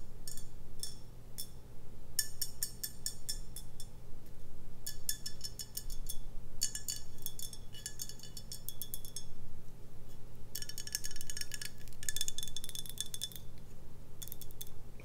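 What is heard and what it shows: Long nails tap and scratch a full brown glass beer bottle on its label and neck. Bursts of quick, bright clicks and scrapes come in clusters, with short pauses between them, over a steady low hum.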